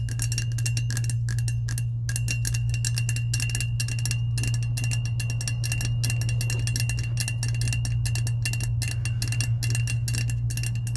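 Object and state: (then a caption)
Powder-coated stainless steel tumbler. Long acrylic nails tap rapidly and continuously on the sides of a hollow, hand-sized, lavender powder-coated insulated stainless steel tumbler held upright. The crisp, bright clicks carry a thin metallic ring near 2.7 kHz over a steady low hum that runs through the whole clip.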